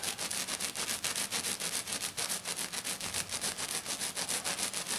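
Long dark nails on both hands rapidly scratch a flat silver glitter sheet, likely glitter foam, in a fast, steady rhythm of about 17 strokes. Each stroke is a bright, hissy, high scrape with almost no low end, and the strokes blend into a continuous rasping texture.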